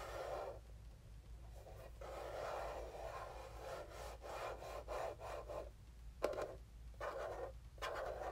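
Fingertips and nails scratch and rub the top surface of a small, hollow black plastic mini game console held in the hand. Quiet, dry scratchy strokes come in uneven bursts, centered in the low mids around 600 Hz, with one brief sharp tick partway through and a low steady hum underneath.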